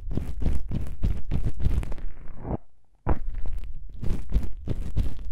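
A thumb presses against two small black foam windscreen covers on a binaural microphone, then long nails scratch across them. This makes close, muffled, deep thumping and crunchy rustling bursts. The rustling fades to near silence for about half a second midway, then resumes just as loud.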